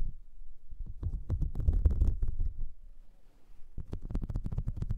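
Long nails scratch the ridges of a flat, light blue, whale-shaped silicone brush-cleaning mat with ridges and nubs. The result is a dense, low, rubbery scratching made of quick, uneven strokes, with a brief quieter lull in the middle before the scratching picks up again.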